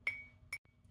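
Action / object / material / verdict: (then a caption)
tap / glass drinking vessel / glass / not crystal. Two clinks on a piece of glassware give a bright, high tone near 2.3 kHz that dies away within about a tenth of a second instead of ringing on. The dull, non-ringing clink marks the piece as plain glass rather than crystal, a check used when thrifting.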